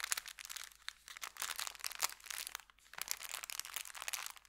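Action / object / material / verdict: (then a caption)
scrape / folded kraft paper bag / kraft paper / none. Fingertips scratch and rub an empty, folded brown kraft paper bakery bag resting on felt. The result is a dense run of bright, dry crinkling and crunching bursts that rise and fall in intensity. There is almost no low end and no ring after each burst.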